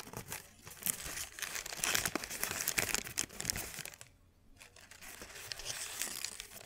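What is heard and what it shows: A thin white paper sheet is held up and crinkled and stretched between the fingers. Dense, bright crackling and rustling fills the first four seconds with sharp snaps, then drops to near silence for about half a second. Softer crinkling resumes and builds again to the end.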